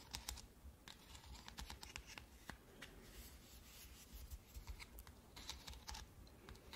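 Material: Plastic.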